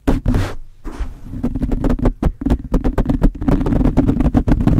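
Long blue-painted nails on both hands scratch and tap the top of a soft, porous black foam windscreen fitted over a large metal USB condenser microphone. The result is a fast run of deep, boomy thumps mixed with muffled, scratchy rustling, heavy in the low end with little brightness.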